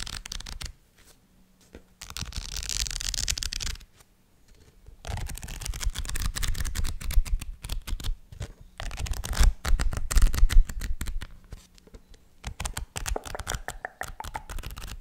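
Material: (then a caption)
Paper. A Harry Potter paperback book is held open in front of the microphone while fingertips flip and riffle through its paper page edges. Dry, papery rustling and fluttering come in bursts separated by brief silences, with a soft low rumble underneath the crisp, brighter page flicks.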